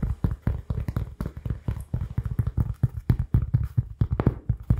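Fingertips tap rapidly on a rounded, solid, palm-sized cork oval pad held close up in a tapping trigger test. The result is a steady stream of soft, dull, low thuds around 125 Hz with almost no ring and no bright edge.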